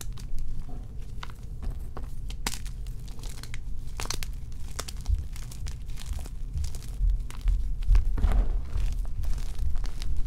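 Fingers press, squeeze and crush lumps of four powdery white and pink magnesium carbonate gym chalk blocks in a dark bowl, grinding chunks between the palms. Dry crunching and crumbling crackles come in quick, uneven bursts over a dense low rumble, with short bright snaps scattered throughout and no ring after each one.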